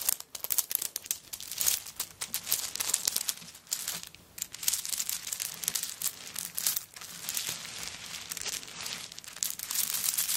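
A handbag covered in coconut shell chips is moved quickly and shaken, then long nails scratch the shell chips while the bag lies on a table. The result is a dense, bright, crinkly rattling and scraping made of rapid dry clicks with almost no low end.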